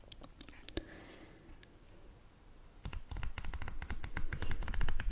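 Fingernails tap and scratch the cover and spine of a paperback book held in both hands, its back cover with a barcode showing. Sparse soft clicks and a faint scratching come first, then from about 2.8 seconds a denser run of quick, dry taps with low thuds and a bright click edge.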